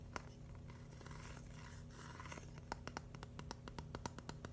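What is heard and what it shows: Fingernails scratch and tap a flat, palm-sized red-and-white mushroom built from plastic Lego bricks with solid studs. Soft, hissy scratching over the surface fills the first half, then gives way to a run of crisp, light plastic clicks with a faint low hum underneath.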